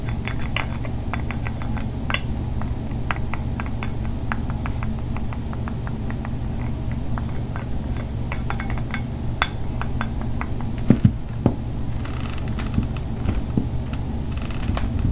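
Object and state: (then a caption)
Bar soap scraped with a knife. A metal butter knife scrapes and cuts into a solid white bar of soap held in one hand, shaving flakes off the same bar throughout. Many short, crisp ticks and scrapes sit over a steady low rumble, with a few sharper snaps near the eleven-second mark.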